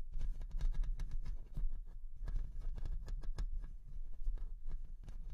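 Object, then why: Metal mesh microphone grille. Long nails on both hands scratch and tap the hollow-headed mesh metal grille of a large Rode NT1-A condenser microphone throughout. The result is a dense, continuous patter of quick clicks and scrapes with deep, boomy low thuds under bright, crisp ticks.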